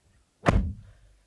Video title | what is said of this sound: Does AWD and a Facelift Make The 2019 Toyota Prius More Appealing? | when you shut the door it sounds a little tinny